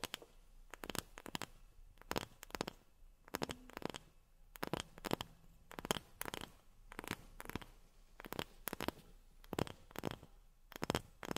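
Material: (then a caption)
Wood. A wooden object is tapped with long fingernails in quick bursts of clicky taps separated by short pauses. Each tap is dry and brief with almost no ring, carrying a woody mid-range tone with bright clicking edges over a quiet, close background.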